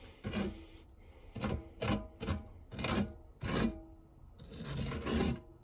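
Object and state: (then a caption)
Non-stick metal tart tin scraped. A silicone spatula blade is pressed flat and rubbed across the textured base of a non-stick metal tart tin. It produces a series of separate raspy, scraping strokes with a low hum-like tone and brief bright edges, separated by short quiet gaps.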